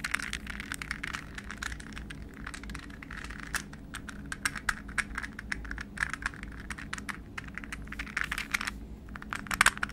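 A hollow, palm-sized, translucent green plastic puzzle ball, balanced between the hands, is tapped rapidly with fingernails and fingertips. The result is a quiet stream of sharp, dry, bright clicks and light crackles that cut off instantly, over a faint steady low hum.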